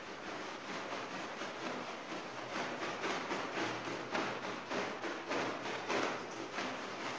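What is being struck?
Nothing is struck.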